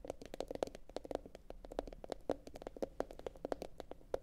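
Long pointed acrylic nails from both hands tap on a medium, hollow, empty blue glossy bowl, likely ceramic, turned upside down. Quick, irregular clicks each carry a faint hollow tone near 530 Hz and stop almost instantly. The result is a quiet, steady stream of crisp taps.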